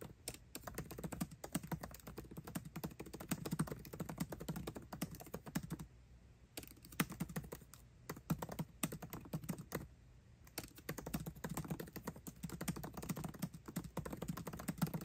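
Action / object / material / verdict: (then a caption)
tap / laptop keyboard with plastic keycaps in an aluminium body / plastic / none. Fast typing with both hands' fingertips on a 13-inch aluminium MacBook Pro keyboard with backlit black plastic keycaps, producing a continuous stream of quick, dull, low-pitched key clicks. Brief pauses come around 6 and 10 seconds.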